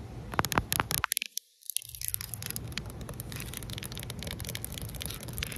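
A hand shaped like a claw scratches long nails across the rough surface of flat, solid outdoor concrete pavement. Sharp, crackly scrapes and clicks come first, then a brief near-silent pause. After that, a steady, dense gritty scratching runs to the end with bright, high texture over a low rumble.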